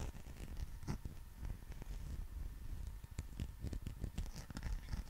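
A green textured rubber dinosaur figure is held above and around the microphone while fingers scratch and rub its surface. The result is a dense, scratchy patter of short, dull rubbing and tapping sounds, heavy in low rumble with little brightness.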